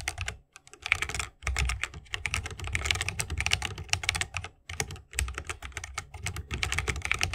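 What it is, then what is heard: Mechanical keyboard with wooden case. A 60% mechanical keyboard with a bamboo wood case, plastic keycaps and Holy Panda tactile switches is typed on rapidly with the fingertips of both hands. Dense streams of bright, sharp key clacks ride over a deeper low thock, with brief pauses near 0.6 and 4.7 seconds.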